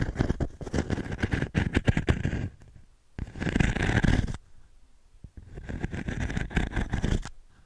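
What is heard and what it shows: Fingertips scratch and rub in circles over the fine metal mesh of an octagonal pine frame held in one hand. Three bursts of dense, crackling, scratchy rubbing with a strong low rumble are separated by brief quieter pauses.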